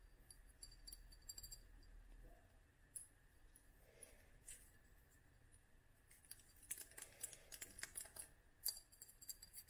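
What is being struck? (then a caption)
Small glass dropper bottle filled with oil. Long nails tap on a small clear glass dropper bottle full of oil and dried flowers, with a black dropper cap. Quiet, bright, short clicking taps come sparsely at first, then more densely in the second half, over a faint steady hiss and low hum.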